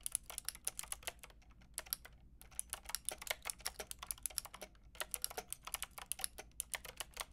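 Fingertips with long red nails rapidly tap the round pink and grey plastic keycaps of a white plastic-cased Lofree mechanical keyboard. About 43 quick, bright, dry clicks come in uneven bursts, with a brief pause just after two seconds, over a faint low hum.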